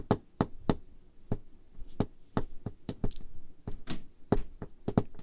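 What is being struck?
Wooden table top.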